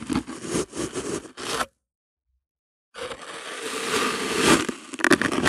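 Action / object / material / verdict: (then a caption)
scrape / kinetic sand cut with a plastic bottle rim / sand / none. A flat slab of pink kinetic sand resting on white paper is cut into pieces with the rim of a clear plastic bottle held in hand, giving short gritty scraping crunches. A burst of crunchy cuts is followed by about a second of silence. Then a longer, denser stretch of grainy scraping builds in loudness and ends with a few sharper crunches.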